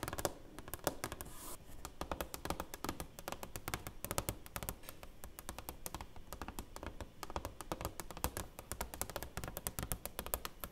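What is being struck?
Framed plaque with clear plastic cover.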